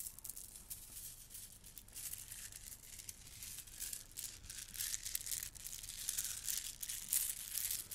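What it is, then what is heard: Plastic bead garland. A gold plastic bead garland is lifted and dangled, then gathered and rubbed between hands with long nails. The beads rattle and clack in a dense, bright, irregular stream of small clicks that grows busier toward the end.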